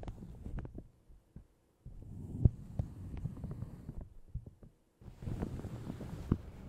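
Long red nails scratch and tap a light blue plastic shower cap stretched over a large hollow Yeti microphone. The result is muffled, low, thumping crinkles and soft rubbing, with brief silent pauses between bursts and a few sharper taps standing out.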